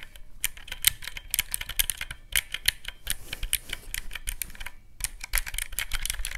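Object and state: Plastic mechanical-key calculator.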